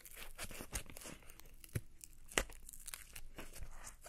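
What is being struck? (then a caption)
Napa cabbage leaf. A single fresh, pale green, hand-sized and solid napa cabbage leaf is crumpled, bent and torn by fingers with long painted nails. This gives crisp, crunchy tearing and crinkling sounds with a few sharper snaps over a low rustle. A smaller torn piece of the same leaf is left at the end.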